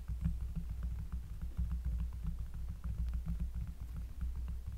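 Fingers tap rapidly on a cork surface up close, producing a continuous run of deep, bassy, muffled thuds. The taps are soft and short, centered around a low 59 Hz rumble, with faint brighter ticks above.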